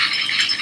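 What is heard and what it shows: A dried loofah gourd is shaken so its loose seeds rattle inside, on their way out through the holes at the bottom so they can be replanted next year. The result is a brief, continuous, bright, dry rattle, mostly high-pitched, with no separate hits standing out.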